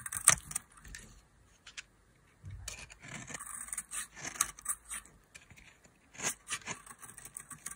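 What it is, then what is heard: Dry soap bar being carved. A solid bar of dry mint-green soap, held in the hand, is carved with a metal utility knife blade. The blade makes a run of crisp, bright scraping and cutting strokes, mostly high-pitched and airy with little low end. Short bursts are separated by brief quiet gaps.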